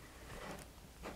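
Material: Nothing is struck.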